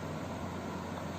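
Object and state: Nothing is struck.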